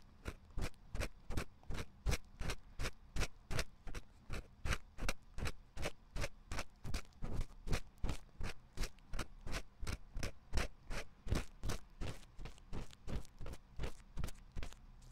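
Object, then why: Silicone ear of a binaural microphone scratched with a wooden pick. A thin wooden or bamboo ear pick, held by the fingertips, scratches inside the ear canal of a white soft silicone ear mounted on a 3Dio-style binaural microphone with a metal ring. About 49 short, crisp, scratchy strokes repeat in a steady rhythm of roughly three per second. Each stroke carries a bright, brushy edge over a close, muffled low thump.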